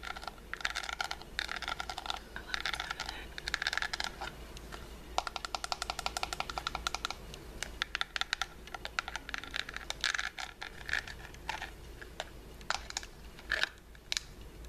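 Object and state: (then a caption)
Pearl-studded metal compact mirror, tapped with nails. A small, round, hollow metal compact mirror with its lid covered in faux pearls is held in both hands and tapped and scratched with long pink false nails. Quick, bright clicking taps come in bursts and rapid runs, with brief scratchy passages between them. Each tap stops dead with no ring, over a faint steady low hum.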